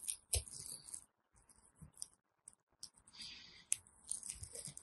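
A small metal blade scrapes and cuts into the pre-scored grid of a solid teal soap bar held in hand, giving short bursts of bright, crisp scraping with sharp clicks and brief silent gaps. Small cubes chip off the bar.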